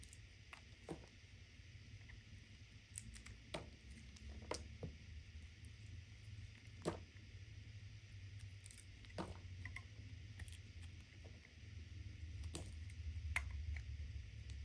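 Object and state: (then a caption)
Bar soap being cut. A serrated metal knife scrapes and cuts along the edge of a solid cream bar of soap held in the palm, leaving flakes. Quiet, soft scraping is broken by irregular, crisp, bright ticks and short cuts over a steady low hum.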